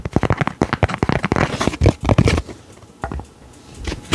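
Fingertips and nails tap and scratch the flat surface of a thin, coated, laminated paper card with a diver illustration, held in both hands. A fast run of dry, crackly taps and scrapes fills the first two and a half seconds. After that, a few sparser, softer taps follow to the end.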